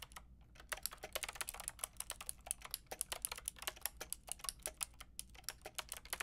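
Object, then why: Plastic mechanical keyboard with round keycaps. Long painted nails and fingertips type on a white-pink backlit mechanical keyboard with round plastic keycaps. A steady, rapid stream of sharp, bright clicks and taps with almost no ring, over a faint low hum.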